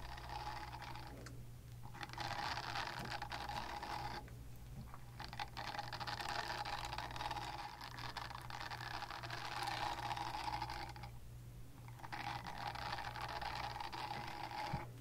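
Long nails scratch and tap over the textured surface of a small, solid, flexible pink oval silicone cleansing pad, producing bursts of dense, bright, crackly scratching. Short pauses separate the bursts, and a steady low hum sits underneath throughout.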